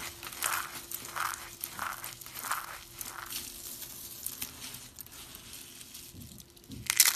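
Hands squeeze and crumble a pile of thin, pale green and cream dry soap curls and shavings with their fingertips. The result is a run of dry, bright crunching and crinkling bursts with little low end. A sharper, louder crackle comes at the end.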